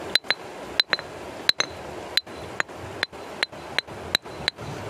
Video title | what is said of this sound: Mengagetkan!! apakah ini fosil keong??.. waow | dipukulkan ini. Dia suaranya nyaring banget.